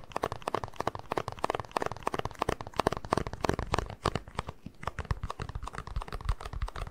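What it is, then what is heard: Plastic cup. A small, empty, hollow white plastic cup is turned in the hands while fingertips tap and scratch its base and sides. Rapid, dry taps and crinkly scratching come in quick, uneven bursts, with a hollow low-mid body around 420 Hz and little bright edge. Each tap stops short with no ring.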